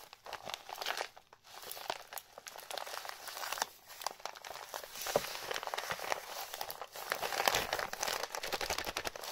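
Fingertips and palms rub, press and crinkle the brown paper wrapping of a medium-sized parcel, sealed with tape and bearing a white label, as it rests on a table with its contents unseen. A dense stream of dry, bright crackles and rustles plays out with almost no low end, pausing only briefly before building to its loudest crinkling near the end.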